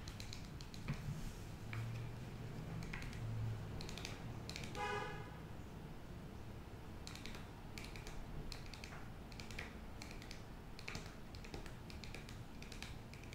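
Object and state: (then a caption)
Foil-lined paper sheet mask sachet. A flat, thin, foil-lined printed paper sheet mask sachet is held up and tapped with long nails, giving irregular light, bright clicks and soft crinkly taps over a steady low rumble. Near the five-second mark, a brief squeaky tonal sound rises above the tapping.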